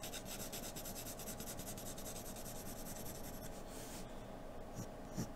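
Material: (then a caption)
Paper. A wooden graphite pencil held in the fingers scratches and shades a large flat sheet of white drawing paper resting on a dark surface. Quick back-and-forth strokes make a steady bright rasping for about three and a half seconds, then the strokes thin out into softer, slower rubs. A couple of dull low bumps come near the end.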